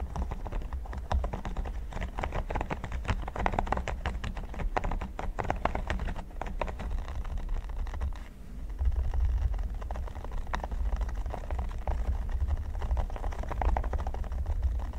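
Fingertips and short nails scratch and tap across a flat, solid red silicone pyramid mat, making a dense stream of quick, dry patters and scrapes over a deep low rumble. The busy tapping dips briefly around the middle before picking back up and continuing steadily.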